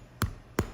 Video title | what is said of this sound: Fun Video Friday: Irish Soda Bread recipe | kind of sounds like when you bounce a basketball so that's the hollow sound